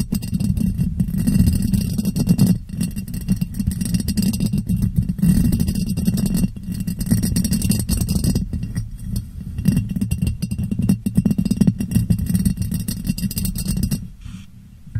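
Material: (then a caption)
Glass. Long nails tap and scratch the sides of a clear, ribbed, hollow, empty glass jar set upside down over a microphone. The result is a dense, continuous stream of rapid clicks and scrapes, heavy in low, boomy resonance with a faint bright hiss on top. The sound stays busy for about fourteen seconds and then drops off quietly at the end.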